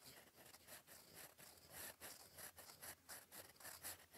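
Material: Paper.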